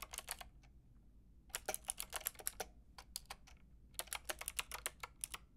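Fingertips with long red nails tap rapidly on a Lofree mechanical keyboard with a white plastic case and round pink and grey plastic keycaps. Bright, crisp plastic clicks come in three quick runs separated by short pauses, each tap dying out almost instantly. A faint steady low hum and a touch of faint music sit underneath.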